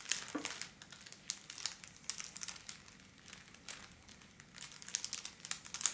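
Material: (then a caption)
Metallic foil. A thin pink holographic foil wrapping paper sheet is held under both hands and scratched and crumpled with long black-polished nails. Bright, dense crinkling and crackling with sharp scratchy bursts fills the clip, with almost no low end. There is a brief quieter stretch in the middle before it grows busier again at the end.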